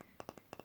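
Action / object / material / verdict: tap / wooden Christmas figurine / wood / none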